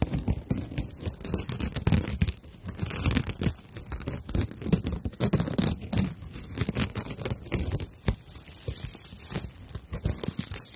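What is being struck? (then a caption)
Dried natural loofah sponge. A dried natural loofah pad is held upright while fingernails scratch and rub across its coarse fibers, giving a continuous, dense run of dry, crackling, tearing-like scrapes. The sound is full in the low end, with quick bright transients and brief pauses between strokes.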